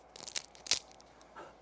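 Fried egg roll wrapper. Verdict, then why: Crispy. An egg roll with its wrapper, fresh from the air fryer after 15 minutes, is broken open and gives off sharp, bright crunching and crackling. The loudest bursts come near 0.35 s and 0.7 s, followed by a softer crackle near 1.4 s. The egg roll is super crispy.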